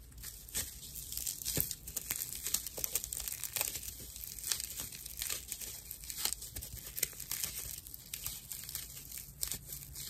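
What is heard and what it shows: A dry, hand-sized natural loofah pad of fibrous plant material is held in both hands and scratched with long nails. The result is a steady run of rough, bright crinkling and scratching with many quick, sharp rasps over a soft hiss.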